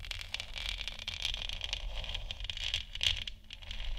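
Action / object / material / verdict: scrape / hollow plastic moon lamp sphere / plastic / none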